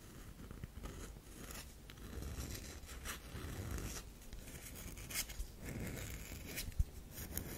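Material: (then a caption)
Soap. Long pink nails scratch lines into the surface of a solid, oval, olive-brown DURU bar of soap held in both hands, raising soap powder. The result is a soft, dry scraping and crunching with bright, breathy strokes over a low rumble. A few sharper clicks stand out, one near the end.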